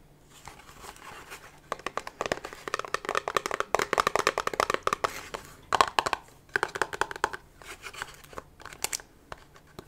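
A small, hollow, pink printed cardboard gift box with a satin ribbon is held in the hands and tapped and scratched with long nails. Quick, dry, papery clicks and crinkly scratches come in dense bursts with brief pauses, centered around 1 kHz with little low end and no ring.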